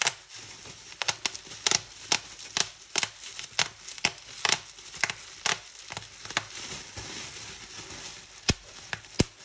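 Clear plastic bubble wrap is held up while fingers and long nails squeeze and pop its bubbles. Nineteen sharp, bright snaps ring out at irregular intervals over a steady crinkling rustle of plastic, each pop dying away almost instantly.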